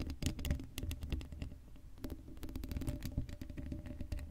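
Long acrylic nails scratch the hollow black steel mesh grille of a Blue Yeti microphone that has no cover. The result is a dense, rapid run of short scratching clicks and taps, with a heavy low, thumpy body, a faint hum, and only brief bright ticks. The sound stays close and steady throughout.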